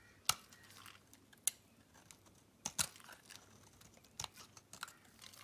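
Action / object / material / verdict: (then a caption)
scrape / bar of soap shaved with a metal blade / soap / none. A metal blade shaves flakes off a solid pink Camay bar soap held in the hand, and the flakes pile up below. Crisp, bright scraping crunches come at irregular intervals, each short and dry with almost no ring, over a quiet background of faint crinkling.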